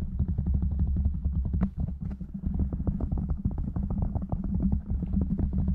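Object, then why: Foam microphone windscreen. Fingertips of both hands rapidly tap a black foam windscreen on a microphone. A dense, steady stream of muffled, boomy thumps sits mostly in the low end, with a deep rumble and short decays, and the rhythm barely dips at any point.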